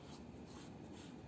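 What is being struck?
Nothing is struck.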